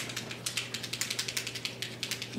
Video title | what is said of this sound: Alcohol Inks - Lesson with Guest Artist Wei Lan Lorber | shake it until you hear the the little ball